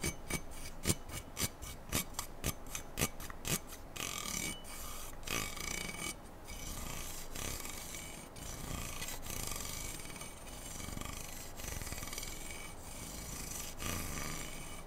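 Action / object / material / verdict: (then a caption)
scrape / slotted aluminum rifle handguard / aluminum / none. Fingernails scratch and rub back and forth along the black slotted aluminum handguard of an AR-style rifle, a hollow tube. Quick, distinct rasping strokes with bright, scratchy edges come first, then settle into a steady, continuous rubbing with occasional sharper accents.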